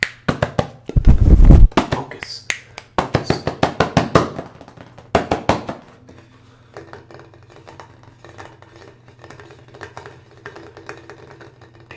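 Fingertips tap and knock rapidly on the flat, solid wooden seat of a small, light wooden chair held upright. The first half brings quick, dry, short knocks, with a louder, denser flurry early on. After that the taps turn soft and sparse over a steady low hum.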